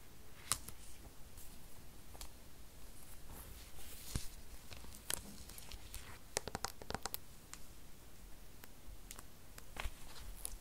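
Long nails tap and scratch the silver aluminum back of an iPad 8th generation (2020), a thin, solid tablet held up and turned in the hands. Quiet, sharp, bright clicks and short scratches are scattered over a low, steady rumble, each tick dying away almost instantly.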